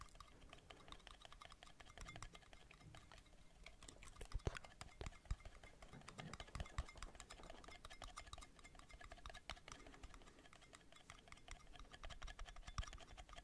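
Metal lids are tapped rapidly, recorded binaurally. The result is a quiet, dense stream of short, dry clicks with little ring, a few sharper taps standing out, over a low background rumble.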